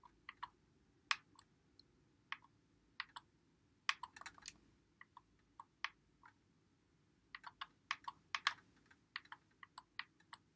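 Fingertips press and click the buttons and thumbsticks of a white Xbox One controller with a hollow plastic body, held in both hands. The result is an irregular stream of short, dry, bright clicks centered around 2.5 kHz, some coming in quick bursts. Each click dies away almost instantly over a faint low hiss.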